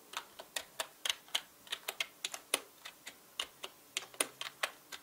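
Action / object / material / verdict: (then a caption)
tap / plastic mechanical keyboard / plastic / none. A full-size black mechanical keyboard with plastic keycaps is typed on quickly by fingertips. About 21 crisp, bright clacks and taps come in an uneven rhythm, each ending almost instantly against a quiet background.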